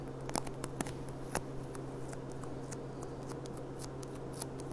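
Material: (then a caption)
Glass. Long dark-painted nails tap and click on the bowl of a clear, thin, gold-rimmed stemmed glass goblet that is hollow, empty and held upside down. Quick, light, bright clicks come irregularly over a steady low hum, each dying away almost at once.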